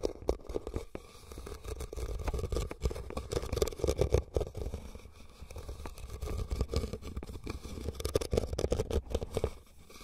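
Fingernails of both hands scratch and tap across a hollow, empty red woven rattan basket. Dense, rustling scrapes mix with quick, dry taps over a low, hollow body resonance. The sound swells and fades in waves throughout the clip.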